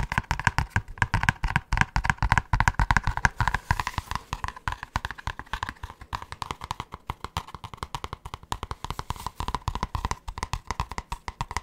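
Fingertips and short nails of both hands rapidly tap and scratch the thin cardboard cover of a large grey spiral-bound notebook held upright. The result is a dense, irregular stream of dry, short taps with a low thump, a papery midrange rustle and no ringing.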